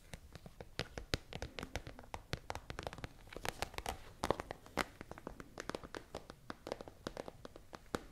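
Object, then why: Plastic pencil case. Long nails tap and scratch a tall, hollow, holographic, transparent iridescent plastic pencil case with items inside. The result is a rapid, irregular run of dozens of quiet, dry clicks and taps, each dying away almost instantly, over a soft scratchy rustle with a bright edge.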